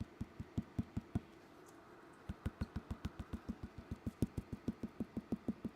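Someone taps the upper wall of a clay bowl being trimmed, comparing it with the bottom; the top is thicker. About 22 short, dull, low-pitched taps die away almost instantly, in a quick run, a pause of about a second, then a steady longer run.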